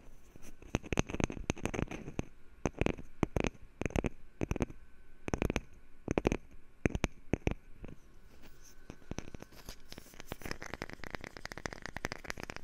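A wooden lid is tapped with fingers for ASMR, giving short, dry knocks with a low, woody body and almost no ring. The taps come in spaced bursts for the first eight seconds, then turn into a faster, denser patter of lighter, brighter taps.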